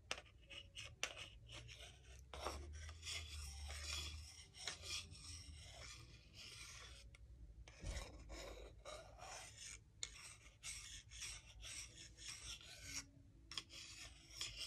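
A solid wooden salad spoon and fork are rubbed and slid against each other. The result is a steady, dry, bright rasping and scraping with short, woody clicks scattered throughout, plus a low rumble underneath.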